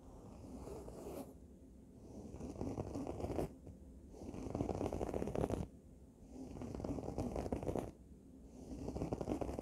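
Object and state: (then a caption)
Fabric cushion scratched with nails. Long nails scratch along the fabric of a red throw pillow cushion in slow, repeated strokes. Each stroke is a dense, raspy scraping that swells and fades, with a brief bright hiss where the next stroke begins.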